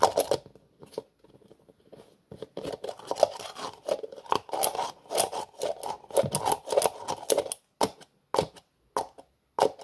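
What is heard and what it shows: Fingertips tap and twist the black plastic screw lid on a small cream-colored plastic jar. The result is a run of crisp, clicky taps and rattly twisting bursts, broken by short silences. The sound sits in the midrange with bright edges on each click.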